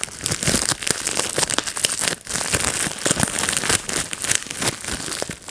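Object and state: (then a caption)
Bubble wrap being popped and crinkled. A clear, air-filled plastic bubble wrap sheet held over a lap is squeezed between fingertips and thumbs. Bubbles pop in a rapid, dense string of sharp, bright snaps mixed with plastic crinkling, with only a brief lull around the two-second mark.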